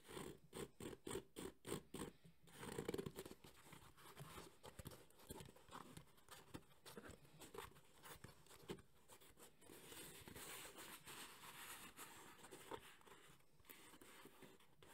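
A thumbnail scratches quickly across the textured surface of a black JBL hard EVA speaker carrying case, making a run of short, dry, bright scratching bursts at first. The scratching then settles into a steadier, softer rasping texture as the case is handled and turned upright in the hands.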